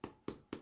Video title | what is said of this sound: Basic Bread Baking 101 - FamilyBaker.com | when I tap on them they have a bit of a hollow sound to them that is just a kind of an indicator that they're done